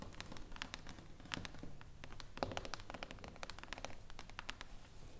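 Long acrylic nails from both hands tap and lightly scratch a thin, solid, glossy glass tabletop panel lying on a wooden table. Quick, bright clicks come in an irregular stream with soft scratching between them. Each tap dies away almost at once.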